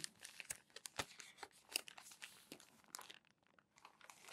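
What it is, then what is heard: Crumpled glossy magazine pages. Both hands lift, turn and smooth crumpled glossy paper magazine pages with fingers and palms. The result is a quiet, bright, irregular crinkling punctuated by sharp crackles and brief swishes. Near the end it fades to a softer rustle.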